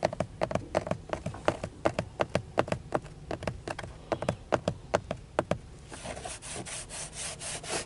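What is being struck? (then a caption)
Plastic car steering wheel airbag cover. Fingertips and nails tap a textured dark grey plastic airbag cover with a chrome emblem at the centre of a car steering wheel, a large, solid-feeling panel over a hollow housing. For about six seconds, quick, dry, hollow taps with a short ring around 600 Hz fall in an uneven rhythm. In the last two seconds they give way to a brighter, hissy scratching across the plastic.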